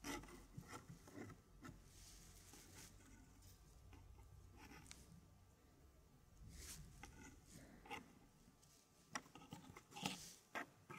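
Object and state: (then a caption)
Wooden fractal tray puzzle. Fingertips of both hands slide and scrape thin, flat wooden fractal puzzle pieces across the wooden base of a square wooden tray. Quiet, steady rubbing and rasping continue throughout, broken by light, dry wooden taps and clicks with a bright edge. The clicks grow sharper and more frequent near the end.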